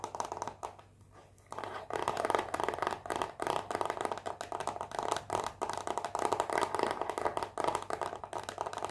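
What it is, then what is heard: Cellophane-wrapped cardboard box. A small, rectangular, hollow cardboard perfume box, still in its cellophane wrap, is held in one hand and tapped and scratched with long painted fingernails. Fast, dense crinkly taps and scrapes fill the clip, briefly dropping to near quiet around the first second before resuming steadily. The sound is dry and midrange-heavy with very little low end.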